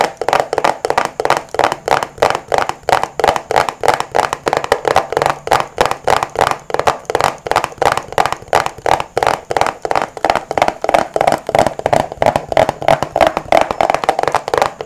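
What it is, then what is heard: Plastic rat-tail comb. Fingertips run and flick across the teeth of a small, solid black plastic rat-tail comb held close to the microphone in both hands. The result is a rapid, somewhat uneven stream of short, dry, scratchy strums, about three per second, each dying away almost instantly. The tone is a midrange plucked rasp with a little high sheen on top.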